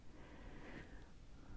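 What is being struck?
Nothing is struck.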